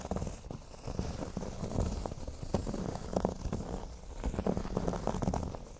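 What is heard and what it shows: Both hands scratch across a large, flat, solid cork board shaped like a speech bubble, using short nails that move over the surface. The result is a soft, dense, muffled scratching of quick overlapping scrapes, mostly low and dull with almost no brightness. It stays at a quiet, steady level throughout.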